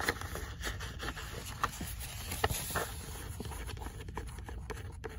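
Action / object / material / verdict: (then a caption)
scrape / paperback book paper pages / paper / none. Long nails scratch and tap across the printed paper pages of an open paperback book. Soft, dry scratching runs throughout, with a low rumble underneath and a few sharper, brief taps that stop dead with no ring.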